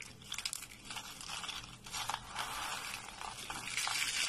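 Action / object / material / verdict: scrape / soap shavings / soap / none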